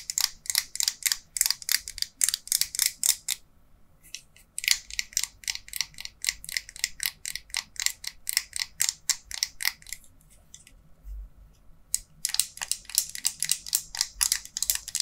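Long pink-polished nails tap and scratch the plastic body and label of a small yellow BIC plastic disposable lighter with a metal top, held in both hands. Rapid runs of sharp, bright clicks are broken by short pauses, and some clicks may come from the metal top or mechanism rather than the body alone.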